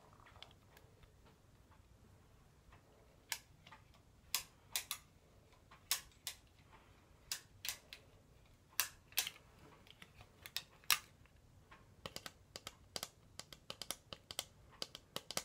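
Fingernails tap and click on the frame and tinted lenses of pink plastic-framed sunglasses held up close. Short, sharp, bright clicks come at irregular intervals over a quiet hiss, growing quicker and denser toward the end, each dying away almost instantly.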